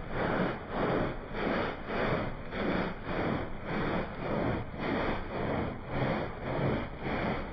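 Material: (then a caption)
Wool pile. A small, wet, soapy Persian-style woven pile rug is scrubbed with a handheld blue plastic bristle brush. Steady back-and-forth strokes make a rhythmic, wet swishing rasp that swells and fades at a moderate, even pace, with a broad, mostly low-to-mid body.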